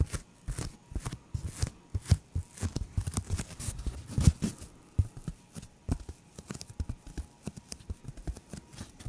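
Fingertips and nails scratch and tap across the surface of a thin, hand-sized white polyethylene protective foam sheet. Many quick, dry taps and scrapes follow one another with soft, deep thumps and brief bright crackles, each dying away almost at once.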